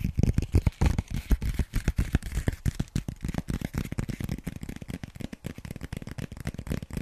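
A small white paper notepad with lined pages, a solid stack held in one hand, is tapped and scratched with long nails. The result is a fast, irregular run of dull, low-pitched taps mixed with soft scratching, loudest at the start and easing slightly toward the end.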